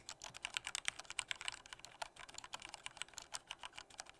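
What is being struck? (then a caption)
Plastic mechanical keyboard with linear switches. Light fingertip typing with both hands on a full-size black plastic Corsair K68 mechanical keyboard with Cherry MX Red switches and a hollow body. About 26 quick, bright plastic key taps rattle along at an uneven rhythm, each dying almost instantly, with almost no low end.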